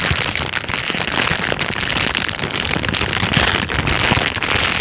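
A thin, clear, empty plastic bag is lifted and crumpled by hand, and the film crinkles continuously. The result is a dense, steady, bright crackling rustle with many tiny sharp clicks and very little low end.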